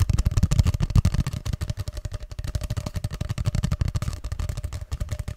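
Fingertips rapidly tap and scratch a long, hollow grey cardboard tube held upright beside the mic. The result is a dense, fast run of dull, hollow low thumps with very short decay, plus faint dry scratching and a soft steady mid tone underneath.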